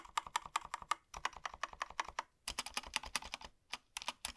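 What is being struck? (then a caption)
Plastic mechanical keyboard. Gloved fingertips type on a small black Razer BlackWidow V3 65% mechanical keyboard with plastic keycaps and a solid body, lying on a desk. Quick, crisp clicky keystrokes come in bursts separated by brief pauses, with a mid-range clack and a bright, sharp edge on each press.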